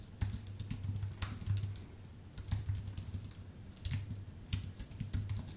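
Fingertips of both hands tap the keys of a full-size white Apple Magic Keyboard with numpad, with a thin aluminium base and plastic keycaps, resting on a dark desk. Quick runs of soft, bright key clicks over a low, muffled thump come in bursts separated by brief pauses, each click dying away almost at once.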